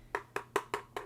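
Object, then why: Metal keyboard back panel. Five taps on the heavy back panel of a new Kinesis Advantage 360 ergonomic keyboard, which is matte metal with a plastic-like feel. Each tap is a short, dull knock centered around 400 Hz that dies away almost instantly and doesn't ring like metal, though the panel is confirmed to be metal.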